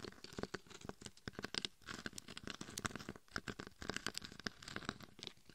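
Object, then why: Glitter-coated hard plastic mannequin head. Long painted fingernails tap and scratch on both sides of the face and head of a life-size mannequin head covered in coarse gold and red glitter, a hard, hollow shell with a microphone inside. Quick, dry clicks and gritty scrapes come in dense, uneven bursts with a bright, crackly edge. Each hit dies away almost instantly.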